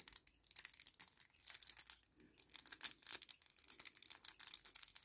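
A small, flat kraft paper sachet is held in both hands and bent and crinkled with the fingertips. It makes soft, bright crackling and crinkling rustles in quick clustered bursts, broken by short quiet gaps.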